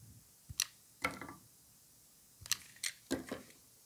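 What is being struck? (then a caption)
Bar of soap. A gloved hand holds a solid white rectangular bar of dry soap and shaves and cuts it with a utility knife blade, sending curls of soap falling. About seven short, bright, crisp scraping and cutting strokes sound in quick bursts. Each stroke stops almost instantly, with quiet gaps between them.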